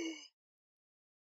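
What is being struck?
Nothing is struck.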